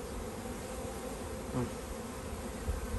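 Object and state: Nothing is struck.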